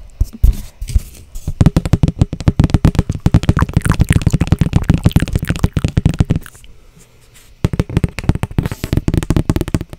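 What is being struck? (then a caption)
Thin cardboard sheet. A flat, thin, solid brown cardboard sheet held in both hands is tapped and scratched with long blue-painted nails, giving fast bursts of dull, low, papery taps. After a brief quiet pause near the end, the rapid tapping resumes.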